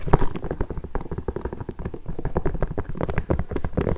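Long nails and fingertips tap and scratch the upper of an empty pink nubuck leather boot with metal eyelets and a rubber sole. The result is a dense, rapid run of short, dull taps with soft scratching between them, heavy in low tones and dying away almost instantly.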